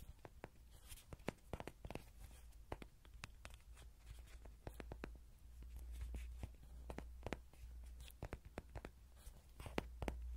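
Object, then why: Soft vinyl toy horse. Fingernails tap and scratch the face and body of a small yellow soft-vinyl Rody horse toy, likely hollow, held in the hands. Many sharp, dry clicks and short scratches come in quick succession, with very little ring. A steady low hum runs underneath throughout.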